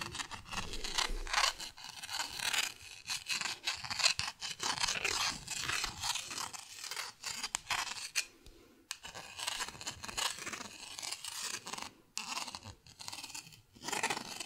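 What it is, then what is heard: Plastic paddle scratched with a pen tip. A purple pen tip scratches over the textured face of a small, flat, thin, solid green plastic paddle. The result is a run of dry, rasping scrapes, bright and high with very little low end. The strokes come in uneven bursts with short pauses between them.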